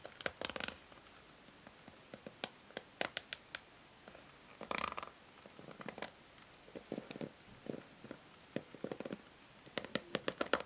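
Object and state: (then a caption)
Plastic hair brush. Long nails strum and scratch the white bristles of a pink plastic hair brush, making quick, dry, crackly bursts of bright scratching and short clicks. The bursts are scattered unevenly over about ten seconds with quiet gaps between them.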